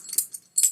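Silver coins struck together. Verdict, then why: Real. Two silver coins are clanked together three times, giving short, bright metallic clinks that are all high treble and die away almost at once. The dull clank marks the coins as real silver, so the acid test is skipped to avoid damaging the coin's surface.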